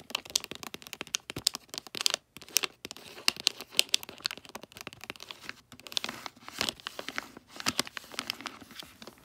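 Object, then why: Foil wrapping paper on a gift box. Long nails scratch and crinkle the holographic foil wrapping paper on a gift box near its folded end. Dense, bright crackles and crinkles come in quick bursts with almost no low end, pausing briefly a couple of times before resuming.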